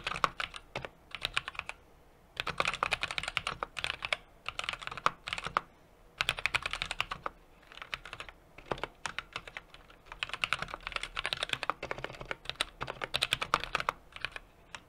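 A small 60% mechanical keyboard with an aluminum case, brass plate and plastic keycaps is typed on rapidly with the fingertips of both hands. Bursts of crisp, bright key taps with almost no ring are separated by brief pauses.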